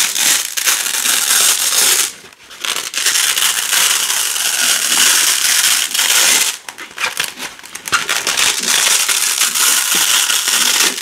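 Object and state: Nylon hook-and-loop strip being peeled.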